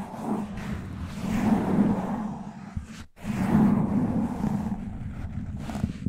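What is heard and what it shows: Both hands cup a black foam windscreen over a large microphone's hollow head and scratch and rub it with fingertips and short nails, going from slow to fast. It makes a dense, muffled scratching rumble with a low hum-like tone. The rubbing swells in two long waves broken by a brief near-silent gap.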